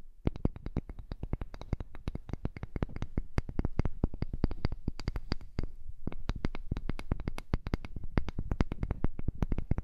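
A heart-shaped piece of wood is tapped rapidly and continuously, giving a dense stream of short, dry, quiet knocks with a low, hollow body. The taps barely ring, and there is a brief pause around the six-second mark before the tapping resumes.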